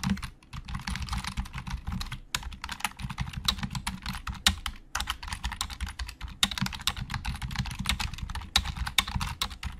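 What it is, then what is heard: Plastic computer keyboard. Fast typing with the fingertips of both hands on a hollow black plastic Logitech keyboard. It makes a dense, steady run of quick, dry clicks with a bright top and a hollow low thump under each keystroke, plus brief pauses near the start and middle. Each click dies away almost at once.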